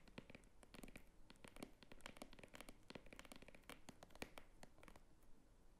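Long nails scratch and tap the top edge and flap of a small red croc-embossed faux crocodile leather clutch standing on a table. The result is a quiet, steady stream of quick, dry clicks and crackly scratching with bright, sharp edges and very little ring.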